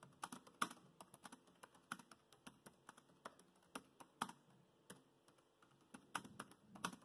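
Fingertips of both hands tap the black plastic chiclet keys of a grey laptop in continuous typing. Quiet, crisp clicks come in an uneven, steady stream, each dying away almost instantly. The clicks are mid-pitched with a bright edge and little low end, and a few keystrokes land noticeably louder.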